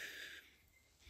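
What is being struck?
Nothing is struck.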